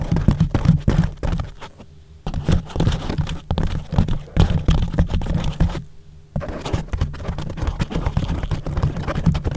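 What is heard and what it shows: Fingertips and short nails tap and scratch across a yellow porous foam windscreen wrapped around a microphone. The result is a dense run of muffled, bass-heavy thumps and scratchy rubbing, broken by two brief quiet pauses.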